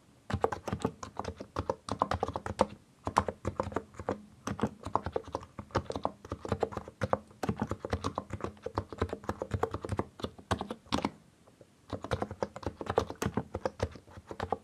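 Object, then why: Mechanical keyboard with plastic keycaps. Both hands type with their fingertips on a compact mechanical keyboard with a white case and colored plastic keycaps. Rapid bursts of short, crisp keystrokes clatter with a low, rounded body and almost no ring. The typing breaks off in brief pauses near three seconds and between eleven and twelve seconds.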